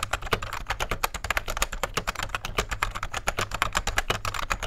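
Fingertips of both hands type steadily on a vintage beige full-size plastic rubber dome keyboard with a hollow case. The result is a fast, continuous patter of short, soft clacky key taps centered around 1 kHz with a hollow plastic character. Each tap dies away almost instantly over a faint low steady hum.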